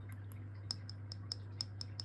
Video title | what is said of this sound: Longines Perpetual Calendar Moonphase Automatic Watch Authentication: Real vs Fake! | you can even hear it just by tapping it this sounds like just Hollow